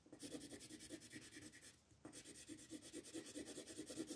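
A green wooden colored pencil shades grass on a paper coloring page resting on a table, while the other hand holds the page. Quick, repeated scratchy rubbing strokes with a bright papery hiss run steadily, pause briefly just before two seconds, then resume at the same pace.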